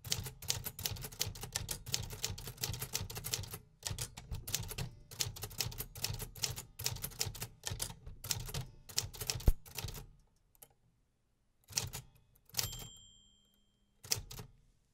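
Fingertips press the keys of a 1950s metal typewriter with paper loaded, typing steadily and making dense, rapid mechanical clacks with a low thud beneath bright, sharp strikes. After about ten seconds the typing breaks off into silence, with only a few short bursts of clacks near the end.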